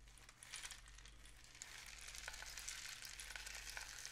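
A long, hollow, painted cardboard rain stick is held diagonally while fingertips tap and rub its surface as the filling trickles inside. A dense, bright, hissing patter like rain runs throughout, with soft taps rising out of it over a faint low steady hum.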